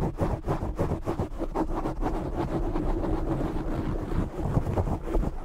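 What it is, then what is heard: Foam microphone windscreen being scratched. A black foam microphone windscreen is gripped and scratched with short fingernails by both hands. The result is a dense, continuous, muffled scratching and rubbing, heavy in low rumble with almost no bright top end.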